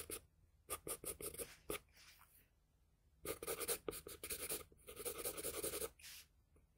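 A wooden pencil's graphite tip scratches a flat sheet of drawing paper in quick shading strokes. Bursts of dry, bright scraping come in two clusters separated by a quieter pause.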